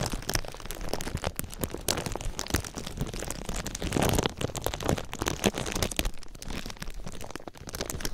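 A thin sheet of clear plastic film lies over an ear-shaped microphone and is rubbed with fingertips and nails, then lifted and crumpled with both hands. It makes a dense, continuous run of crisp crackles and crinkles with a low rumble underneath. The crackling peaks in a louder burst around the middle.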